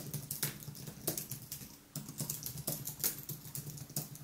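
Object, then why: Aluminium keyboard with plastic keys. Fingertips type continuously on a thin aluminium and plastic wireless keyboard with white plastic keys, producing quick, soft clicks and taps with bright highs and a low thump beneath. The rapid keystrokes blur together into a steady patter with a brief lull near the middle.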